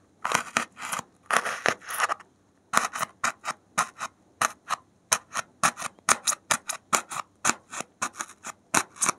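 A gloved hand repeatedly jabs and scratches the surface of a solid white expanded polystyrene (thermocol) foam block with a metal safety pin. The result is a run of short, dry, bright squeaky scratches with almost no low end and no ring. Longer rasping strokes come first, then a brief pause, then a steady series of quick separate jabs.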